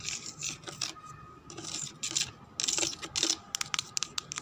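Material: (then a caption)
Plastic. Long red nails scratch and tap the side of a hollow, empty-looking white translucent plastic jug with a handle, lying on a woven chair. Bright, dry scraping and rubbing sweeps come first, followed by a run of sharp, quick taps that stop almost instantly with no ring.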